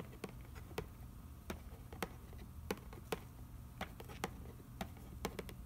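Fingertips tap and trace across the nutrition panel on the back of a cardboard macaroni and cheese box lying on newspaper. A series of short, dry, quiet taps with very little ring stands out over a soft, low rustling from the tracing.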